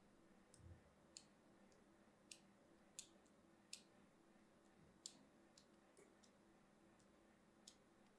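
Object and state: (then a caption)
Bar soap scraped with a needle. A thin metal needle scratches the edge and side of a small, hand-sized, solid blue-and-white striped bar soap held in one hand. It makes a series of short, sharp, bright clicks spaced irregularly over a faint low background hum. Each click dies away almost instantly.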